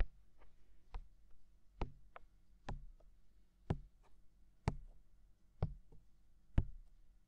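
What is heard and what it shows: Fingertips tap the hollow, mounted white silicone ear of a binaural microphone, making eight soft, dull thumps about once a second with fainter light taps in between. The taps are deep and muffled, stop dead with no ring, and sit over a quiet, near-silent background.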